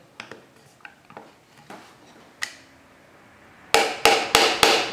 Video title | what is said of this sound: Incastro a coda di rondine angolare aperta / Through dovetail joint sub Eng | è un classico suono acuto